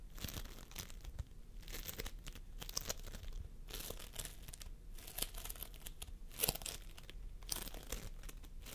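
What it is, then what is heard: Floam sculpting foam being kneaded. Fingertips press into, squeeze and pull at a large mound of pastel purple, yellow and blue floam, made of tiny polystyrene foam beads in a sticky binder, resting on a wooden table. A continuous run of sticky, bright crackles and tearing pops comes in dense bursts over a low, steady rumble.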